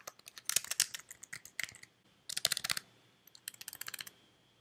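Fingertips with long red nails type on a white slim plastic computer keyboard that is held up. Quick, bright clicking taps come in three bursts separated by short pauses, each tap dying away almost at once.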